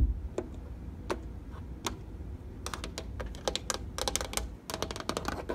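Fingernails tap and press the buttons and panel of a plastic treadmill console with an LCD display. A few sparse, sharp clicks give way to quicker bursts of bright, dry tapping over a steady low hum.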